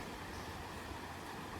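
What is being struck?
Nothing is struck.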